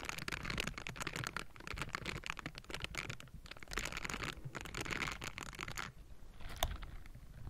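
Pink silicone bristle gloves scratch both sides of the hollow metal mesh grille of a Blue Yeti microphone, producing dense, rapid, bright rasping strokes with a low rumbling undertone. The scratching stays busy for about six seconds, then thins to quieter rubbing broken by one sharp tick near the end.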